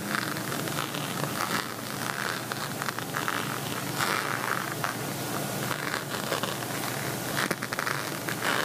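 A beaded plastic cosmetic pouch shaped like a pixel envelope is held up while nails and fingertips scratch across its bumpy plastic bead front. The result is a steady, dense, crackly scratching and rustling texture, bright in the upper mids with little low end, and it holds at an even level for the whole clip.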